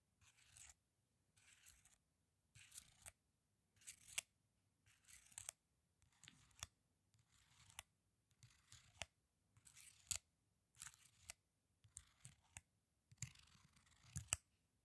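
A small, thin, flat strip of sealed foil condom wrappers, held in both hands with the contents not visible, is scratched and rubbed with the fingernails. About a dozen short bursts of crisp, bright crinkling scratches come in a loose rhythm, with little low end. Each burst ends almost instantly with no ring.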